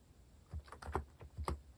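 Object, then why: Plastic mechanical keyboard keys. Fingertips type quickly on a compact white-cased mechanical keyboard with plastic cat-themed keycaps. A rapid run of quiet, deep keystrokes clacks out, each short and dull with little brightness, over a faint background.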